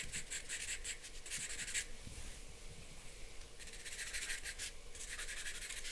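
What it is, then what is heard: Charcoal pencil on drawing paper. A charcoal pencil draws on a large white sheet of drawing paper lying flat on a board, making quiet scratching and rubbing strokes. Quick bursts of bright, gritty scratching fill the first two seconds, ease into softer rubbing, then pick back up in rapid strokes toward the end.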